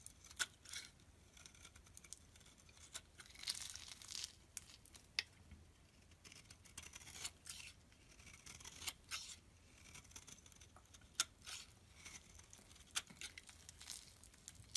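A box-cutter blade scores a solid purple bar of soap held in the hand and cuts it into small cubes that crumble off. Quiet, bright, crisp scraping and cutting sounds are punctuated by sharp, short clicks as the pieces break away.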